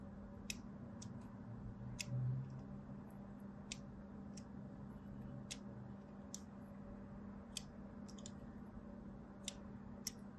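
A thin blade scores diagonal lines across the surface of a solid white soap bar, making a series of short, sharp, bright clicks spaced irregularly through the clip. Each scrape is crisp and dies away almost instantly over a quiet, steady low hum.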